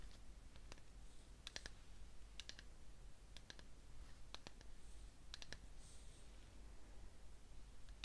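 Long fingernails tap and click on the rim and sides of a small cream-coloured ceramic cup filled with candle wax, held in one hand, before the cup is brought up to the face to be smelled. Quiet, sharp, bright clicks land in small clusters, each dying away almost instantly, over a steady low hum.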